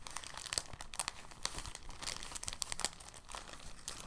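A clear, thin soft plastic bag is stretched and flexed between both hands, giving a steady run of quick, bright crinkles with sharp crackling peaks. The sound stays dense and irregular throughout, with no distinct pauses.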